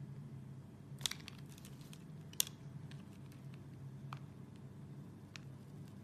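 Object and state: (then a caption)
Soap bar being shaved. A hand-sized, solid translucent red soap bar held in one hand is shaved with an orange plastic Y-peeler with a metal blade, each scraping, peeling stroke pulling off thin curls. Five short, bright, crisp scrapes and crinkles come at uneven intervals over a steady low hum, each dying away almost instantly.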